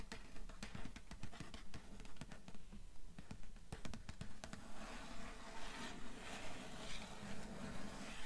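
Long nails tap and scratch the cloth-covered cardboard board cover of a solid grey hardcover book, without its jacket, lying on a table. A steady run of about 22 short, dull, low taps, roughly two per second, dies away almost at once. Soft, bright scratching grows stronger through the second half.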